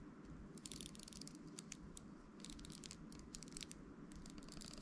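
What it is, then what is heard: Plastic round hairbrush, bristles scratched. A round hairbrush with an amber translucent plastic barrel and handle and dense pin bristles is held in the hand while fingertips and nails scratch and flick the bristles. The result is a steady run of quick, dry, bright crackling bursts over a low, constant background hum.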